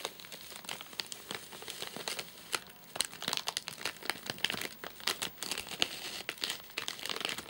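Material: Plastic film.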